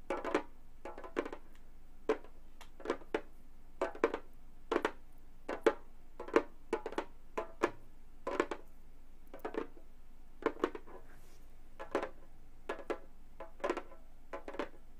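Long gold metal claw nails on both hands tap the synthetic skin head of a flat, hollow Remo frame drum. The taps come in many short, irregular clusters, each a crisp, bright click with a midrange tone near 450 Hz. Each tap dies away almost instantly, leaving quiet gaps between them.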